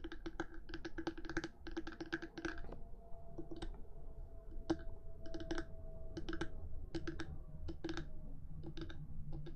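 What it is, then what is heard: Plastic microphone body tapped with nails. Long nails on both hands tap quickly across the top of the hard black plastic body of a 3Dio binaural microphone, between its silicone ears. Dense, dry clicking taps come in rapid bursts, each dying out almost at once, over a low, rumbly background.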